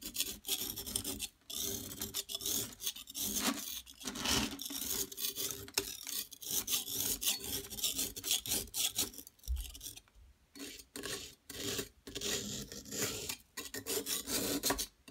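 A metal palette knife scrapes the surface of a large, solid yellow plaster dig-kit excavation block shaped like a gold bar, held down on a table by a hand with long nails. Bright, dry rasping strokes repeat in quick bursts separated by brief pauses, over a faint steady low hum. Yellow powder collects on the table as the block is scraped.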